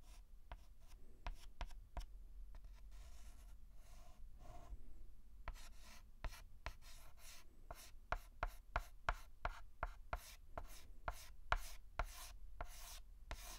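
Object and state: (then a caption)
Chalk tapping on a blackboard. A white chalk stick makes short tapping, hatching strokes on a large flat blackboard. Quick, dry clicks with brief scratchy rubs come in a steady rhythm and grow faster and more crisp toward the end, each tick stopping almost at once.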